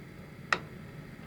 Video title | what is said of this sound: 1/64 Subaru Impreza WRC Monte Carlo winner 1997 by HJ64 Hobby Japan | it sounds like plastic so be mindful that'll snap if you drop this model